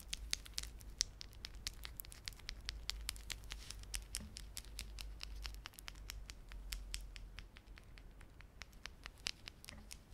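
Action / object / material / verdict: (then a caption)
scrape / plastic beaded garland with fringe / plastic / none. A small clump of plastic beaded garland, with glossy solid dark blue and silver plastic beads and red spiky plastic fringe, is held in both palms while fingertips rub and squeeze it. This produces a steady stream of many sharp, bright clicks and soft crinkling, each click dying away almost instantly, over a low, constant background hum.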